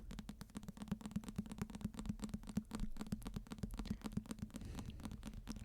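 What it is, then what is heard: Hardcover book. A hardcover H.P. Lovecraft book is tapped repeatedly with quick, soft taps. The taps come as a rapid, uneven series of short, dull knocks with a low hum around 200 Hz underneath. Most of the energy sits in the low range.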